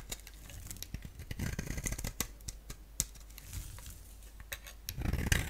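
A utility blade shaves curls off the face of a hand-sized solid purple soap bar with a black outer layer, held in the palm. Dry, crisp scraping and cutting strokes repeat in quick, uneven bursts with bright, brief clicks over a low steady rumble, growing denser and louder toward the end.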